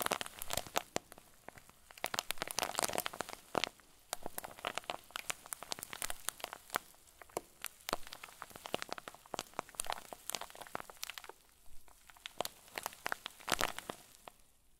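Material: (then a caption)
Plastic. A clear plastic zip bag stuffed with white fluffy filling is squeezed up close with the fingers of both hands. It gives off dense, bright crinkling and crackling with many short, sharp pops that stop almost instantly, swelling and easing in quick bursts throughout.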